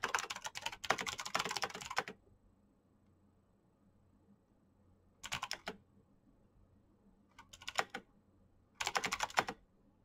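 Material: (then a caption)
Plastic. Fingertips with painted nails type at a moderate pace on a black plastic mechanical keyboard. A two-second run of bright, clicky clacks is followed by quiet, then three shorter bursts of keystrokes. Each click is sharp and dies away almost instantly.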